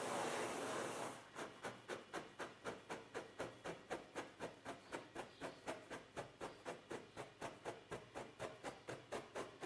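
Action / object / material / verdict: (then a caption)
scrape / sheet of paper on a table / paper / none. Both hands scratch a large, flat, thin white sheet of paper lying on a table, using short fingernails and fingertips. A continuous dry rubbing hiss opens the clip for about a second, then gives way to 23 short, papery scratch strokes in a steady rhythm of about four per second. Each stroke is bright and crisp, with almost no low end and a very quick fade.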